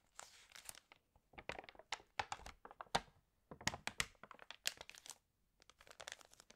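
Pages of an open, water-damaged glossy paper fashion magazine are turned and rubbed with the fingertips and long nails. Quiet, bright bursts of crinkling and crackling paper come in clusters separated by brief pauses, with no talking.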